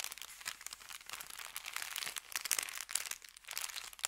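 Fingertips rub and tap an empty, folded, thin kraft paper bakery bag resting on felt. A continuous run of quiet, crisp crinkles and short rustling taps fills the clip, bright and airy with almost nothing in the low end.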